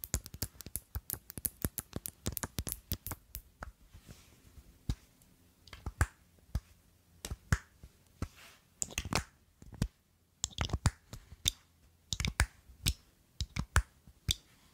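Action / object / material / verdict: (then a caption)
tap / small faceted glass perfume bottle / glass / none. A small, clear, rounded, faceted glass perfume bottle with a square silver cap is held in one hand and tapped and clicked with long glittery acrylic nails. Short, sharp clicks come in a rapid run at first, then in sparser, irregular bursts, each dying away almost instantly. The taps have a dull low knock beneath a bright glassy tick.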